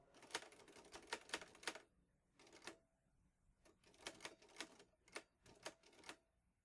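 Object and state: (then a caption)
Metal portable typewriter. Fingertips type steadily on the keys of a vintage teal metal Underwood Olivetti Lettera 22 portable typewriter with paper loaded. Bursts of sharp, bright key clacks arrive in quick runs separated by short pauses, each strike dying away almost at once.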